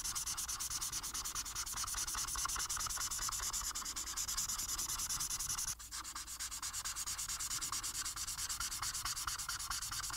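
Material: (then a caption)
Paper. A felt marker held in the fingers colors a flat paper coloring sheet blue on a table, making quick, steady rubbing and scratching strokes. The sound is a bright, papery hiss with rapid back-and-forth scratches. It dips briefly just before the six-second mark, then the strokes continue at the same pace.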